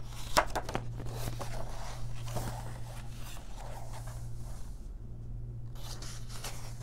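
Long nails and fingertips flip the thin paper pages of an open paper coloring book and brush across them. A sharp papery flick near the start gives way to soft, crisp rustling and brushing strokes over a steady low hum.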